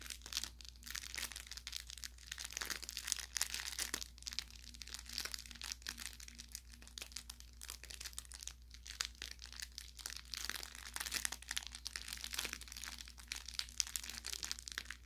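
A thumb and fingertips squeeze and rub the tapered tip of a soft-stuffed, orange velour plush carrot toy with crinkle filling. The result is dense, bright crinkling and crackling with quick, sharp pops, heard over a faint steady low hum.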